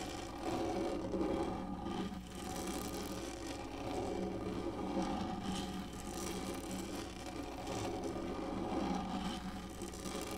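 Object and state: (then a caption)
Plastic lap tray being scratched. Long nails of both hands slowly scratch across a large, black, textured, hollow-molded plastic lap tray. The result is a steady, soft, rough rasping with a hollow low-mid body and gentle swells in loudness as the strokes continue.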